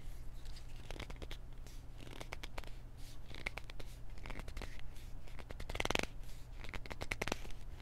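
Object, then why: Small plastic pill bottle with paper label. A small white plastic pill bottle with a paper label is gripped and scratched with fingertips and nails, making a steady run of short, dry scratching and clicking bursts. The busiest, brightest flurry of scratches comes around the six-second mark, all over a constant low hum.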